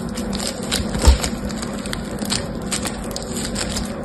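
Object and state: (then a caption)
Foam bead slime (floam) crackling. Fingertips with medium painted nails squeeze, stretch and pull apart a palm-sized, solid lump of yellow and green polystyrene foam beads in sticky slime (floam). The result is a steady stream of fine, bright crackling and popping over a low background hum, with one louder crunch near the one-second mark.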